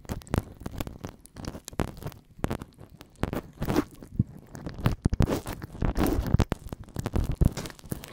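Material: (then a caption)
Silicone. Oiled fingertips rub and press into a life-size, solid soft silicone ear model, working over the outer ear and into the ear canal in a slow massage-style rub rather than tapping. The sound is dense, close and muffled, mostly deep thumps and squelchy, crackly rubbing, with quick bursts of bright rustle between heavier presses.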